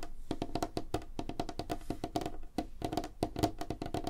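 Both hands tap quickly on a solid, light wooden tabletop with fingertips and nails, making a rapid, irregular run of short, dry knocks. Each knock has a woody tone around 690 Hz and dies away almost at once.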